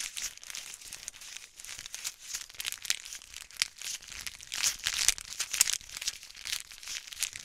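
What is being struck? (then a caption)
Small flat plastic wrapper packet. A small, flat, white printed plastic wrapper packet with black lettering is crinkled and squeezed between the fingertips and nails of both hands. The result is continuous, bright crinkling and crackling with quick sharp snaps, almost no low end, and soft, irregular swells in loudness.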